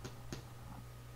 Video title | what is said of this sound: Pains aux graines et noix | si ça sonne creux, c'est que votre pain est bien cuit